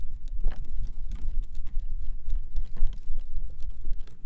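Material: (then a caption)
Plastic. A hand-sized folding fan with white plastic ribs and a printed fabric/paper leaf is held open in both hands close to the mic while fingertips click and flick the ribs as it is opened and closed. Quick, irregular, bright plastic ticks and soft rustles patter over a steady low rumble, each click dying away almost at once.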